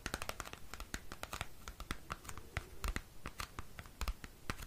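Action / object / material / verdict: scrape / small cardboard album sleeve / cardboard / none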